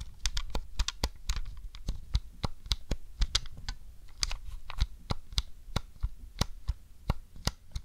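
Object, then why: Plastic game controller. A long decorated fingernail taps and presses the yellow C-buttons on a grey hollow plastic Nintendo 64 controller held in the hand. About 27 short, sharp clicks are heard in an uneven rhythm, each dying out almost instantly over a low background rumble.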